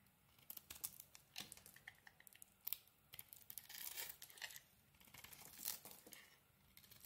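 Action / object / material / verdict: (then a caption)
scrape / bar of soap carved with a metal blade / soap / none. A metal blade carves crumbly chunks off a solid, partly carved yellow bar of soap held in the hand. Quiet, crisp scraping and crunching bursts come in quick, uneven runs, with a bright, papery texture and almost no low end. A few louder, drawn-out shaving strokes stand out among the shorter flicks.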